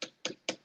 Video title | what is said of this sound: S2-Episode 19, What's Your Head Worth | that's hard plastic right there if you can hear me tapping that